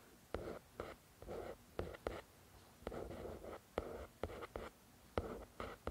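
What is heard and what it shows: Long nails slowly scratch and trace across the glossy front cover of a paperback copy of *The Shack*, a solid paper book. About a dozen separate soft strokes each start with a faint tick of the nail and turn into a quiet, papery rasp. Short pauses of near-silence fall between them.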